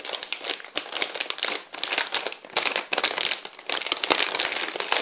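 Fingertips and nails squeeze, rub and crinkle a large, full, clear plastic bag of popcorn as it is held up and turned. Dense, bright crackling crinkles come in uneven bursts with almost no low end, each tiny snap dying away at once.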